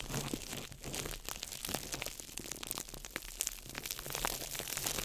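A small ball of crumpled clear plastic wrap is crinkled by fingertips over the mic. It makes a dense, steady stream of bright, sharp crackles and snaps with no ring, alongside a faint low hum.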